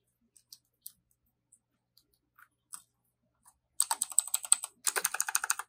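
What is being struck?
Plastic mechanical keyboard.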